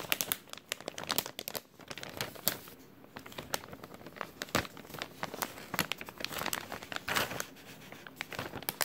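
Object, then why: Thin clear plastic bag. An empty, thin clear plastic bag with a white label, held in front of a shirt, is crumpled and crinkled with the fingertips of both hands. A dense run of sharp, bright crackles and crinkles keeps going throughout, with brief quieter gaps between bursts, little low end and almost no ring after each snap.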